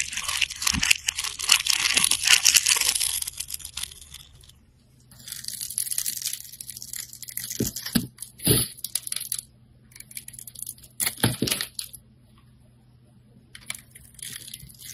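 A metal blade cuts through the grid-scored surface of a hand-held bar of soap with a pink and purple surface over a cream interior, breaking off small cubes. Bright, crisp crunching and crumbling comes in dense bursts, with quieter gaps and a few soft low knocks between cuts.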